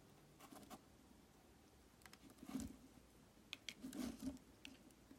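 A solid translucent red glycerin soap block, resting on a glittery surface and held with painted-nail fingers, is scored and scraped with the tip of a metal knife. Soft, irregular scratchy scrapes and light taps come in uneven bursts, with a muffled low-mid body and brief bright, crisp edges that die away almost at once.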